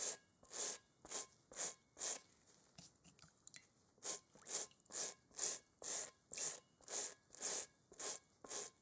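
A small bristle brush scrubs back and forth across a large hollow, inflated rubber kickball with a textured surface, held in a gloved hand. It makes fifteen bright, hissing scratchy strokes in a steady rhythm, with a quiet pause of faint rustling partway through.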